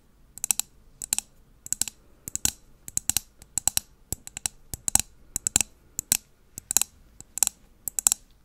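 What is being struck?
Wax-filled glass candle jar.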